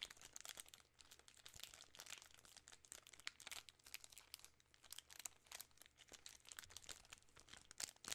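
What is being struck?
Plastic film candy bar wrapper.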